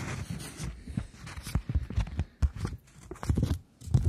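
A polymer plastic £20 banknote is held between the fingers while long nails tap and scratch its surface. The result is a quiet, uneven run of soft, dull taps with brief, bright crinkly scratching between them.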